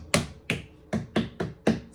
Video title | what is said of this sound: How much can you get out of one fresh watermelon? | smack the watermelon hear that Hollow sound